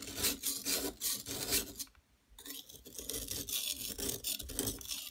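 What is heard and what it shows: A metal palette knife repeatedly scrapes and scratches the top edge of a large solid yellow plaster gold-bar dig block, held down by a hand with long nails, shedding yellow powder. Bright, raspy scraping strokes come in quick succession, pause briefly around the two-second mark, then resume in a denser gritty rasp.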